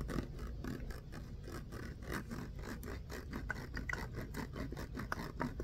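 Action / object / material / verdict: scrape / ribbed plastic water bottle, partly filled with water / plastic / none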